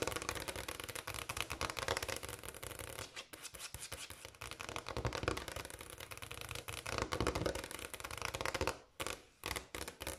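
Long black and pink almond acrylic nails on both hands tap and lightly scratch a large solid speckled brown granite kitchen countertop. The result is a dense, fast stream of crisp clicking and scratchy rubbing with a bright edge. It briefly thins out around the three-second mark and pauses near the end.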